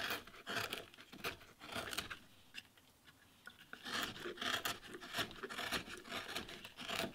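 A steel carving chisel with a wooden handle cuts and scrapes a carved rose-leaf relief into a flat, solid, light-colored wooden board lying on a wooden workbench, with wood chips scattered around. Bright, dry scraping and cutting strokes come in quick, irregular bursts, with a quieter lull in the middle before the strokes pick up again.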